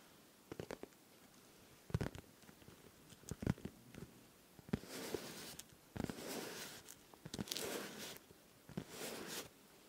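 A hand-sized, hollow, transparent pink plastic pencil case with small items inside is held close and tapped and scratched on its face with fingertips and nails. Sharp, dry, irregular taps in the first few seconds give way to longer, bright, hissing scratch strokes. Quick clicks fall between the strokes, and the taps stop short with no ring.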